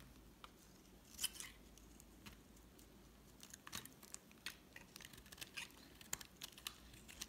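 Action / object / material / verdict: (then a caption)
scrape / soap bar cut with a metal blade / soap / none. A solid white bar of soap held in the hand is carved into curls with a metal utility knife blade. Short, bright scraping and scratching cuts come one after another over a quiet background, with a sharper crackle near the start.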